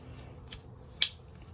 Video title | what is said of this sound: Colorado Surprise: Unboxing and Repairing Two Awesome Knives! | Still got the snap to it.